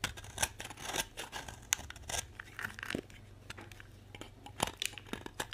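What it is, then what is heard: Dry bar soap being shaved. A utility knife scrapes and shaves crumbly pieces off a solid orange bar of dry soap held in the hand. The sound is a series of bright, dry scratchy cuts and crackles with short sharp bursts and quieter gritty scraping between them. Each stroke stops almost at once, with no ring.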